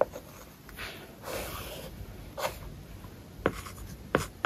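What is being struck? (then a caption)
Tablet with matte plastic screen film, stylus. A plastic-tipped stylus writes the word "application" on a flat iPad covered with a matte, paper-like plastic film. Soft, breathy scratching strokes are broken by sharp, short taps with a clicky midrange body around 540 Hz.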